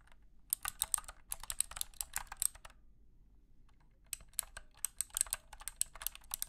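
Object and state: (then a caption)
Plastic clicky mechanical keyboard. Fingertips type on the clicky switches of a compact wired mechanical keyboard with a hollow plastic case and light blue plastic keycaps, resting on a carpeted surface. Rapid, bright, sharp clicks come in two bursts, with a quiet pause in between. Each click dies away almost instantly, leaving a faint low hum underneath.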